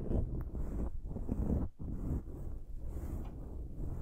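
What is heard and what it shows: Both hands with long patterned acrylic nails scratch and rub the dark foam windscreen on a silver desktop microphone. The sound is a continuous, deep, muffled rumbling scratch, heavy in the lows with almost nothing bright, dipping briefly between strokes.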